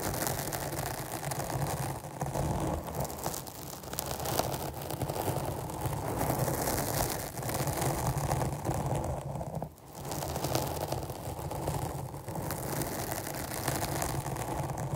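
Long painted nails scratch a black porous foam windscreen, a medium-sized rounded capsule shape held in both hands on a microphone. The result is a steady, dense rasping and crackling scrape with a heavy low rumble, which briefly drops away near the ten-second mark before resuming.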